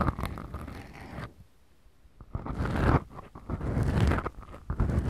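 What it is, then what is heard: Foam microphone windscreens being scratched. Two small black foam windscreens on the mic capsules of a Tascam DR-40X recorder are scratched with the fingertips and long manicured nails of both hands. Close, muffled scratching and rustling bursts dominated by low, boomy rumble start the clip, drop to near-silence for about a second, then return in uneven, slow waves of crackly friction until the end.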